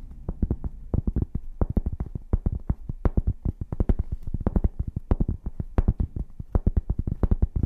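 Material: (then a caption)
Cork. A flat, rectangular, solid, hand-sized cork board is held in one hand and scratched and tapped with long painted fingernails. The result is a fast, uneven stream of dull, low thuds with very short decay, broken up by faint scratchy rustles.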